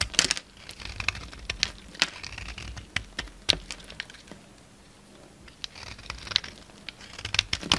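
A utility knife blade shaves and scrapes a solid white bar of soap with red remnants, held in the palm. Crisp, bright scraping and crackly shaving sounds come in short, sharp bursts with a few louder snaps, separated by quieter stretches of faint scratching.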